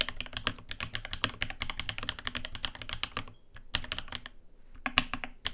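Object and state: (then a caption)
Mechanical keyboard typing. A navy RAMA WORKS Lake U80-A 80% mechanical keyboard with Alpaca switches, an aluminium case, brass plate and dark ABS keycaps, resting on a desk mat, is typed on continuously with the fingertips of both hands. The result is a steady run of short, bright, clacky key taps with a slight low thock, a brief pause midway, then more typing.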